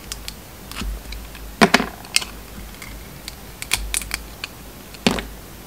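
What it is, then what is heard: Bar of soap being carved. A metal utility knife blade carves and scrapes a round, solid bar of soap with a red and gold striped coating and a pink inside. The clip is a series of short, crisp clicks and scratchy scrapes, bright and dry with almost no ring, over a quiet low background.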